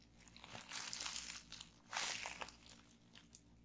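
Fingers grip, twist and pinch a sheet of clear plastic bubble wrap to pop the bubbles. Bright, crisp crackling and crunching plastic comes in two dense bursts, with scattered sharp pops between and after them.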